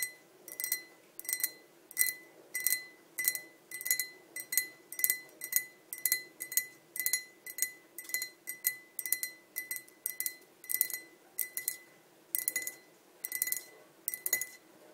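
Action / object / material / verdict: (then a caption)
tap / glass pint tumbler / glass / none. Long nails tap both sides of a tall, clear glass pint tumbler, hollow and empty, standing on a table. Quick, bright clinks come in short clustered bursts at an uneven pace, each with a thin ringing tone near 2 kHz and high overtones. The taps die away almost instantly.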